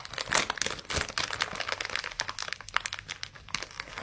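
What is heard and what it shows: A flat, green, cloud-shaped kitchen sponge still sealed in clear, crinkly plastic packaging is held in both hands while fingertips and short nails squeeze, rub and scratch the wrapper. The result is a dense stream of sharp, bright plastic crinkles and crackles with almost no low end.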